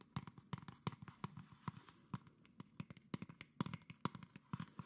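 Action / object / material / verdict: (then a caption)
tap / PET plastic soda bottle / plastic / none. A medium, mostly empty PET plastic Coca-Cola soda bottle with a red cap and red label is held in both hands and tapped and scratched with long nails along its sides and label. Quiet, quick, hollow plastic taps with a low body and sharp clicky tops come in an irregular, rapid series. Soft scratchy rustling fills the gaps between them.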